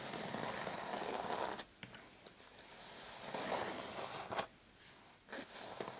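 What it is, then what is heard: Fabric clutch purse scratched with fingernails. Short painted fingernails scratch a dark patterned fabric clutch purse with a metal frame lying flat, giving a dry, bright scraping rasp. The scratching comes in sustained strokes broken by brief pauses and a few sharper ticks.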